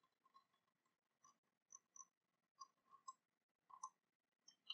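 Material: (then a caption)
Metal. An ornate, silver-coloured cast-metal dragon dagger lies sheathed on cloth while long painted nails tap and scratch along its sculpted surface. About nine quiet, irregularly spaced clicks are heard, bright and metallic with brief pings near 1 kHz and 3 kHz and high glints above. Each dies away almost at once, with faint scratching between taps.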